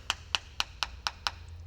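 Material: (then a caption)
Steel. A coin taps six times on the rear quarter panel of a 1969 Dodge Charger, a steel body panel patched with body filler. Each tap is a short, bright tick with almost no ring, dull and slightly plastic-sounding rather than metallic. Grinding the spot confirmed body filler hiding rust and corrosion underneath.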